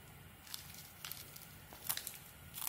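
A small metal blade carves ridged strips off a palm-sized, hand-held bar of solid white soap with a red glitter coating. Quiet, bright, crisp scraping and crackling cuts come in several separate short bursts, with the loudest near the end.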